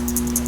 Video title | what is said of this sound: Fixing a COLEMAN 425F From September Of 1987 | the ball makes a good sound